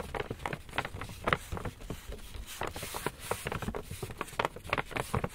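A medium-size black Lush paper shopping bag, hollow and empty, is gripped in both hands while fingertips and nails tap and scratch its front panel. The result is a quick, uneven series of dry, papery taps with crinkly scratching between them and a soft, hollow thump underneath, each tap dying away almost at once.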